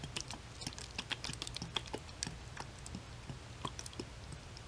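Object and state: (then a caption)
Plastic bottle of liquid tapped with nails. Long white nails tap quickly and lightly on a clear plastic Dickinson's toner bottle with a white cap and label, filled with yellow liquid, while the bottle is tilted so the liquid sloshes. The taps are short, bright clicks with almost no ring, scattered over a soft, low sloshing bed throughout.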